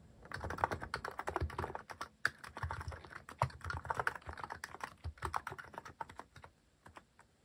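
Fingertips type steadily on a mechanical keyboard fitted with plastic cat-shaped keycaps, producing a rapid run of short, dry clacks with a bright edge and a soft low thump beneath. The typing flows continuously, with a brief pause around the two-second mark, and thins out toward the end.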